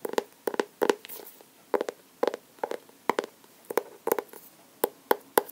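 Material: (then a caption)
Cardboard. A medium blue, solid hardcover sketchbook with a labeled paper-and-cardboard cover is held upright while fingernails tap and scratch across the cover. Quick dry, hollow taps land in small clusters with a mid-pitched papery knock that stops instantly, and soft scratchy brushes of nail on paper fill the short gaps between them.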